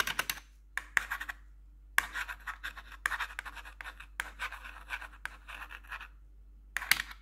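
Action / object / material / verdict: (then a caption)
scrape / plastic computer keyboard keys / plastic / none. A single metal nail tip scratches and taps across the keys of a black plastic RGB computer keyboard. Bursts of dry, bright scratching and clicky taps come in clusters, separated by short quiet gaps, with each contact fading almost instantly.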